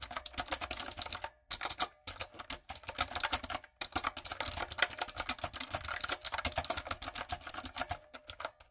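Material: Plastic.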